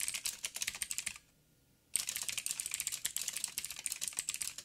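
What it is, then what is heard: Mechanical keyboard being typed on. A backlit mechanical keyboard with black plastic keycaps on a silver frame and a hollow housing is typed on with the fingertips of both hands. Rapid, bright, clicky key taps with almost no low end run for about a second, then stop for a short near-silent pause before dense typing resumes through to the end.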